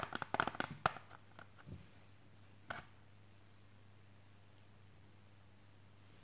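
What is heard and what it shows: Fingertips tap on the front and edges of a hard, clear plastic CD jewel case held in the hands. A quick flurry of sharp, clicky taps opens the clip, followed by a few scattered single taps separated by long quiet gaps over a faint, steady low hum. A final tap lands at the end.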